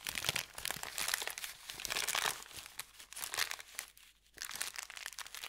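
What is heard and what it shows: An empty brown kraft paper pretzel bakery bag lying on a felt mat is folded over and pressed and rubbed flat with fingertips. This produces dense, irregular, bright crinkling and crunching with almost no low end. The crinkling briefly quiets around the four-second mark before resuming.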